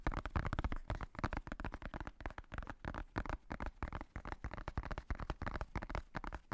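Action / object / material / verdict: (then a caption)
tap / hardcover notebook with faux-leather cover / faux leather / none. Fingertips and nails tap and scratch the top edge and black faux-leather cover of a hardcover notebook. The result is a rapid, irregular run of about 30 short, dull taps with soft scratching between them. The sound is mostly low and thumpy and dies away almost at once.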